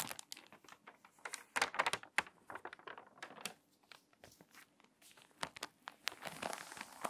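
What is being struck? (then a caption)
Glossy paper magazine pages. Long nails and fingertips scratch and rub the wrinkled pages of a water-damaged glossy paper magazine, then turn to the next spread. Dense, dry crinkling and crackling with many sharp, bright snaps is heard at a quiet level, with almost no low end, and a louder rustling swell comes as the page turns near the end.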